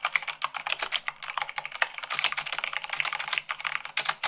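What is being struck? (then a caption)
Plastic mechanical keyboard. Rapid typing on a white plastic mechanical keyboard with fingertips and long nails gives a dense stream of bright, sharp clicks and clacks. Each keystroke is brief with almost no ring, and there is no low rumble beneath.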